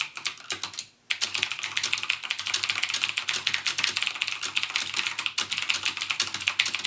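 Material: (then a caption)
Plastic. Fingertips type continuously on a backlit plastic mechanical gaming keyboard with plastic keycaps and Cherry MX Blue switches. A rapid, dense stream of bright, sharp clicks with almost no low end fills the clip, broken only by a brief pause near the first second.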